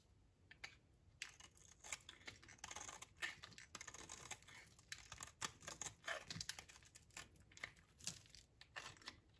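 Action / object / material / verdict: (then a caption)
scrape / bar of soap shaved with a blade / soap / none. A utility knife blade shaves curls off a dry, solid oval soap bar with purple and pink stripes held in the hand. Quiet, bright, crisp scraping and crackling come in quick, uneven bursts of short clicks, each dying away at once, with very little low end.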